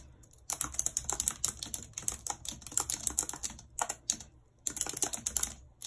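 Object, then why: Plastic computer keyboard. Long red acrylic nails type rapidly on a white, low-profile plastic wireless keyboard with a full number pad and hollow housing, lying flat on a map-printed surface. After a brief quiet start, dense bright clicking and tapping of the keys comes in quick bursts with very short decay. There is a short pause near the end before a final burst of typing.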